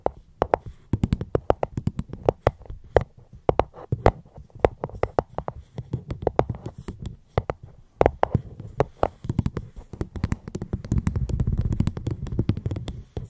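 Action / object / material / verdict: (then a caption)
tap / fruit box / unknown / none. A fruit box held close to the microphone is tapped gently with quick, irregular taps. Each tap is short and dry, with a low, hollow thump and a faint bright click that dies away almost at once. Near the end, the taps give way to a denser, softer low rumble of continuous handling.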